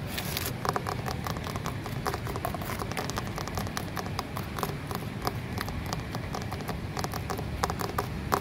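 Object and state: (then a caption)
Concrete flower pot. Long nails tap and scratch the rough, porous wall of a concrete flower pot up close. Many quick, sharp clicks come in a steady, dense pattern over a low, rumbling background.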